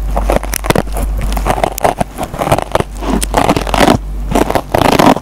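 A metal pencil tip scratches the green nylon scouring pad on a dry foam sponge. The result is a series of rough, crackling scrapes in quick, uneven bursts, with the strongest scratches clustered in the middle range. A steady low hum runs underneath throughout.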